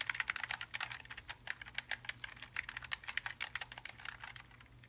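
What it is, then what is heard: Mechanical keyboard being typed on. Gloved hands type rapidly on a backlit Logitech G915 TKL linear gaming keyboard, a plastic and aluminium mechanical keyboard, before coming to rest beside it. A steady stream of sharp, bright key clicks and clacks is heard, with a faint low hum underneath, and the typing thins out toward the end.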